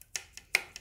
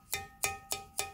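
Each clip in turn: First: unfired air-dried clay pot, dull sound. Second: bisque-fired clay pot, rings clearly.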